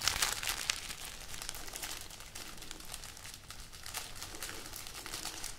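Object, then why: String of dried red chili peppers. Long painted nails and fingertips rub, scratch and crinkle a hanging bunch of dried red chili peppers tied on a string, their hollow, thin-skinned, brittle pods. The result is a quiet, continuous, irregular stream of dry, bright crinkling and crackling, with a few sharper snaps near the start and little low end.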